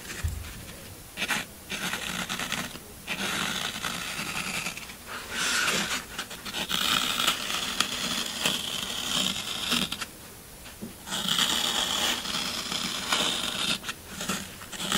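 A pointed, pen-like tool scratches and digs lines into the top of a half block of solid green floral foam held in one hand, with a second block sitting still beside it. Bright, dry, crunchy scraping comes in bursts of varying length, separated by brief quieter pauses.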